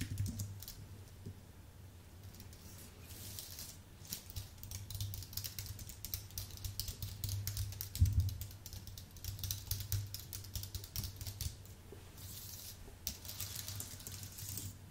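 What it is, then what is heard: Computer keyboard being typed on. Fingertip typing with both hands on a white Apple full-size keyboard with an aluminium base and plastic keys gives a steady run of quick, bright key clicks that stop and start in short bursts. A low, steady hum sits under the typing throughout.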